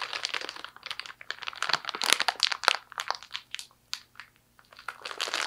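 An empty clear plastic zipper storage bag with a zipper seal is crinkled, squeezed and twisted by hands with long nails. Dense, bright crinkling and crunching bursts come in irregular clusters, thinning into brief quiet gaps before a final flurry of crackling.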